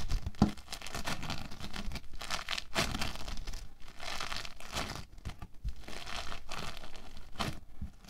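Orange foam bead clay is squeezed, scratched apart with fingertips and pressed with palms on a table. It gives off dense crackling, crunching and tearing sounds in steady bursts, with one sharp louder pop near the start and short quiet gaps between handfuls.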